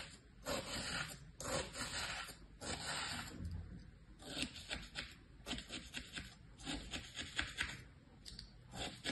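A thin tool held by a hand with long painted nails scratches patterns into packed beige kinetic sand filling a green plastic tray. The result is a run of soft, grainy scraping strokes with a bright, hissy edge, rising and falling in short bursts.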